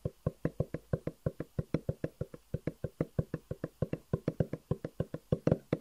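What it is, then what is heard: Cardboard box tapped. A long, hollow black cardboard box with white edges is held upright and tapped and knocked with the fingertips. About 36 quick, dull, hollow knocks come in a steady, even rhythm, each a low thump with a short boxy resonance that dies almost at once. A few hits carry a faint brighter tick on top.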